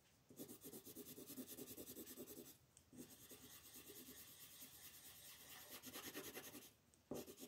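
A yellow wooden colored pencil rubs and scratches across a flat sheet of white paper printed with a monkey, lying on a table while the other hand rests on the sheet. Quick back-and-forth coloring strokes make a steady, raspy scratching with a bright papery hiss. The strokes run in three bursts with two brief pauses between them.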